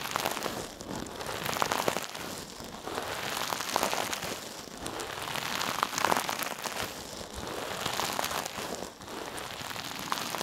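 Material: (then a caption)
Metal mesh. A hand-sized, soft, silver sparkly metallic mesh scrub sponge is held in one hand, squeezed and rubbed against a mannequin's ear and the side of its head. It makes a steady, dense, crinkly crackling with bright, hissy texture and quiet swells and dips in level throughout.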